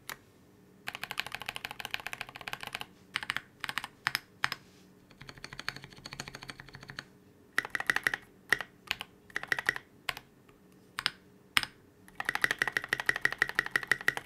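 Fingertips of one hand sweep across the keys of a transparent polycarbonate KBD67 Lite mechanical keyboard fitted with C³ x TKC Kiwi switches and Oblotzky SA Oblivion V2 keycaps. Bursts of rapid, crisp clacks alternate with single taps and short pauses. Each keystroke is short and clicky with a faint ringing tone around 2 kHz and almost no low end.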